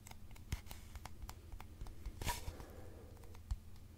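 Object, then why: Cardboard mailing tube. A long, hollow, empty brown cardboard mailing tube is held upright in both hands and tapped and scratched with fingertips and nails. Quiet, dry taps with a low, hollow thump mix with scratchy brushing, and a brighter scrape stands out midway. The taps die away almost instantly.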